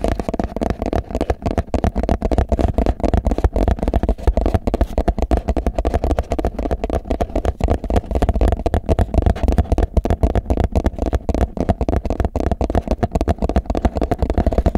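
Fingertips tap and scratch the side of a hollow, empty clear plastic food container in a fast, uneven run of short, dull knocks. The taps are mostly low-pitched and thuddy, with a steady scratchy rustle underneath and almost no bright content. Each tap dies away almost instantly.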